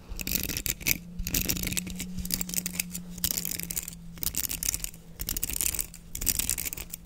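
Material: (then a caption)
Plastic. Fingers rake and scratch the bristles of a black plastic hairbrush with a patterned open back, held close to the mic. The result is bright, crackly scratching in repeated bursts with short pauses, over a faint, steady low hum.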